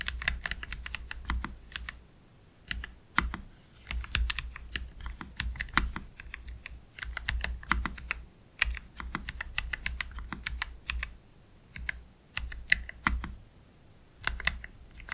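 Both hands slowly type with their fingertips on a black Keychron K3 Pro low-profile mechanical keyboard with Gateron Red low-profile switches and plastic keycaps, resting on a desk mat. Short, crisp key clacks with a bright edge and a soft low thump come in uneven bursts, broken by brief quiet pauses.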